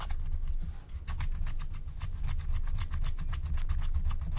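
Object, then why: Scratch-art coated paper sheet. A wooden stylus scratches and rubs the coating off a thin black-coated scratch-art card lying flat. A steady run of short, dry scratching strokes rasps over a low rumble, with bright crackly streaks on each stroke and a brief lull near the one-second mark.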